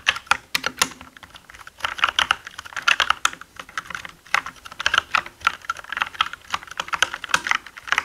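Fingertips type on a black mechanical gaming keyboard with plastic keycaps, producing rapid, irregular bursts of sharp, bright clacks. Each keystroke is a dry, short click with almost no ring and no low-end thump.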